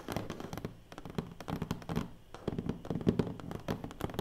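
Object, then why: Cardboard box lid. Long nails and fingertips tap rapidly on the lid of a large, closed black cardboard award box. The taps are quick, dense, and hollow-sounding with a low, woody body. Each one dies away almost instantly, with a few louder accents among the steady patter.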